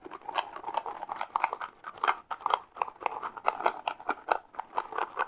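A mini cardboard Froot Loops cereal box is tapped with the fingertips in a rapid, uneven series of light, dry taps. Each tap is short with almost no ring, centered in the midrange with no low end and a little high-end crispness.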